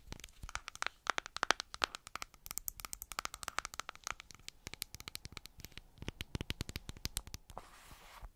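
Long black acrylic nails tap and scratch the lid and sides of a medium white plastic clay mask jar with a screw lid, labeled and likely full. Rapid, dry, bright clicks come in quick irregular runs with almost no ring. The tapping ends in a short, hissy scratching sweep.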